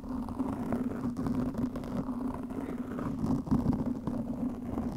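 Long nails scratch a black foam windscreen over a microphone, making a steady, dense rustling and scraping for the whole clip. The sound is muffled and low, with a droning tone around 240 Hz and almost no bright content, and it swells slightly near the middle before settling again.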